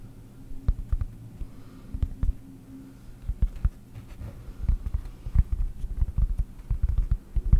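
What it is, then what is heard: Cork disc tapped with fingernails. A round, flat, solid cork disc held close to the microphone is tapped with long nails. The result is an irregular run of short, dull, low thuds with almost no bright content, over a faint low hum. The taps grow busier and louder toward the end.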